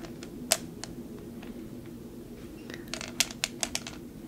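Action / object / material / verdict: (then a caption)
tap / glass jar filled with glass marbles / glass / none. A glass vase or jar partly filled with clear marbles is stirred with fingers, tapped with fingernails and handled. Short, bright glassy clicks and clinks ring out sparsely at first, then gather into a quicker cluster near the end. They sit over a low, steady background rumble.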